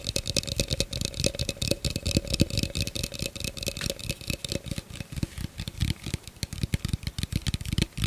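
An empty, hollow clear plastic blender cup is held in both hands and tapped and scratched with the fingertips and nails. Rapid, uneven taps give dull low thumps with bright clicky edges that die away almost instantly. Faint, steady tones hum underneath around 600 Hz and 2.6 kHz.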